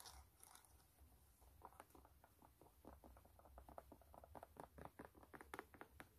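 Long nails tap and scratch the white canvas upper of a low-top sneaker with metal eyelets. A quiet, rapid series of short, dry, crunchy clicks and scrapes plays over a faint low hum, with no ring after each touch.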